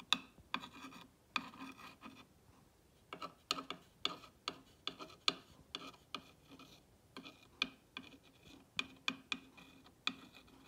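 A clear ball-tipped rod traces and scratches the text on a green-painted solid wooden block sign with distressed edges. It makes a steady series of short, dry, bright scratching strokes with quick taps and faint rasping between them, with almost no low end and no ring.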